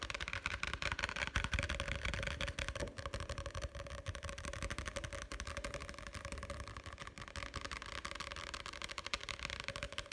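Fingertips and nails tap rapidly on the card cover and edge of a solid paperback book held in both hands. The result is a fast, dense stream of dull low thuds mixed with bright clicky ticks, continuing steadily throughout with no pauses.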